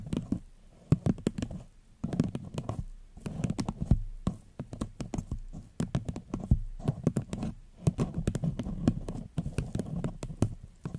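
Long fingernails tap quickly and steadily on a small, empty, upside-down paper cup with a floral print and a gold rim, held over the mic. Each dry, sharp click carries a muffled low thump from the hollow cup, with no ring after. Gentle bursts of tapping run on with brief pauses between them.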